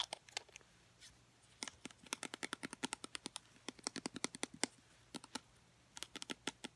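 A small blue plastic travel-size bottle with a black cap, hollow and apparently filled with liquid, is held in both hands. Medium-length painted nails tap and scratch its sides. Quick bursts of short, bright, clicky taps come with brief pauses between them, over a quiet background.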